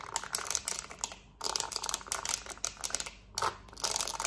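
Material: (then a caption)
Plastic. Long nails tap quickly on the rubber buttons of a black plastic TV remote held in the hand. The result is rapid bursts of bright, crisp clicking with almost no low end, broken by brief pauses.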